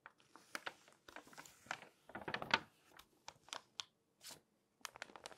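An open, thin glossy paper Magnolia Journal magazine lies flat while a hand with long dark-painted nails turns its pages and rubs and scratches the page surface with nails and fingertips. Quiet, bright paper crinkles and crisp scratchy strokes come in short bursts separated by brief silences, with almost no low end.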